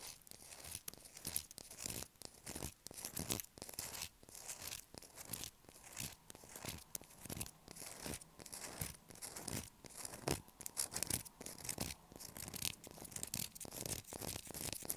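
Long black acrylic nails rapidly scratch the surface of a light blue solid bar of soap held up in the air, shaving off flakes. The result is a quiet, dense stream of dry, bright scratching and crackling bursts in an irregular rhythm, with short, crisp strokes that stop dead without ringing.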